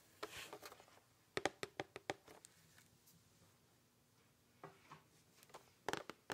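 Fingernails scratch and tap the printed front cover of a closed, medium-sized red cardboard "Fragrance Discovery Vault" gift box held up and tilted. Quiet, dry, sharp clicks come in clustered bursts near the start and end, separated by soft scratchy rustling and a faint low hum.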